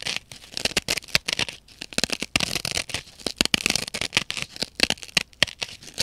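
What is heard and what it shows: Long painted nails scratch across the rough, fibrous blue nylon scouring face of a dry, solid, hand-sized kitchen sponge while a second blue sponge piece sits untouched behind it. Quick, bright, raspy scrapes and crackles come in dense bursts with almost no low end, each stroke dying off instantly.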